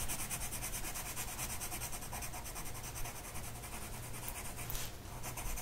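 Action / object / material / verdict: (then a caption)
scrape / pencil tip on a paper sheet / paper / none. A blue colored pencil tip rubs back and forth across a flat printed mandala coloring sheet of paper lying on a table, held in place by one hand. The result is a steady, scratchy, papery rubbing with a bright hiss over a constant low hum, with a brief brighter scrape near the end.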